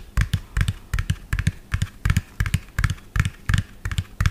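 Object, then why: Plastic toy dump truck cab. Fingernails tap fast on the cab of a medium, lime-green, hollow plastic toy dump truck with an empty tipper bed. About eighteen quick, uneven taps come in pairs and clusters, each a dry, hollow knock with a bright clicky edge and no ring.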